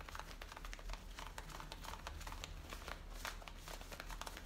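Long painted nails and fingertips scratch and rub the waistband and the top of the back pocket of worn, light-blue distressed denim jeans. Quiet, rapid scratchy strokes with bright, papery edges repeat steadily over a low, constant rumble.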